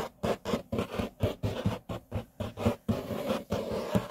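Short nails scratch and fingertips tap across a large, flat, solid grey laminate tabletop in a quick series of raspy, dry strokes. Each burst has a low, woody thump beneath the scratch, and the last second blurs into a steadier rubbing.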